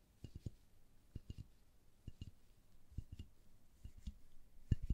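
A small, hollow red plastic toy telephone box with a ridged window grid is tapped and scratched with long gloved nails. Quiet, dull, low clicking taps come in short clusters with very brief ring, over soft scratching between them.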